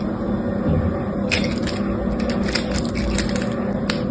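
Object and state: Bar of soap being cut.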